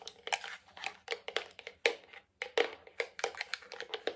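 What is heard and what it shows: A medium, hollow white plastic cream jar with a lid is tapped on its base, lid and sides with nails, fingertips and rings. The result is a quick, uneven series of light, dry clicks and taps with a bright edge and a hollow body around 470 Hz, each dying away almost instantly.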